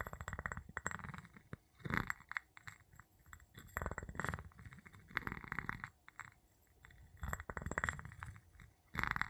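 The tip of a wooden handle taps and clinks on the bottom of a small, empty, clear glass jar held upside down. Quiet bursts of rapid, dry clinks come and go, with a short glassy ring near 2 kHz and a soft low rumble underneath. Brief pauses separate the flurries.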